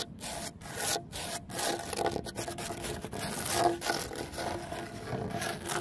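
Fingernails scratch and scrape across the large, solid, rough surface of a cement terrazzo stone bench with embedded stone chips. The result is a continuous gritty, broadband rasping with repeated strokes that swell and fade, briefly broken by short quiet gaps.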